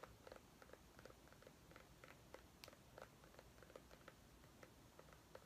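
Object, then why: Small white pumpkin. Long nails tap and scratch a small white ribbed mini pumpkin held in both hands. About thirteen quiet, short, dry taps ring with a light hollow tone near 500 Hz over a soft, steady scratching hiss.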